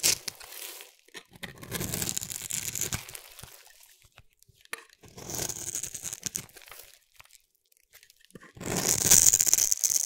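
A solid pink rounded-rectangle bar of soap is held in the hand and scraped with a metal blade, shaving off thin flakes. Bright, dry, crackly scraping comes in three long passes separated by brief quiet gaps, with the last pass the loudest.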